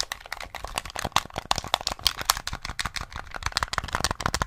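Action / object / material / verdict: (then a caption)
tap / plastic game controller / plastic / none. Fingertips and nails rapidly tap the buttons and casing of a small hollow grey plastic SNES gamepad held close to the mic. The result is a fast, uneven stream of short, dry plastic clicks and taps with a bright, hollow tone centered around 1.1 kHz, each dying away almost instantly.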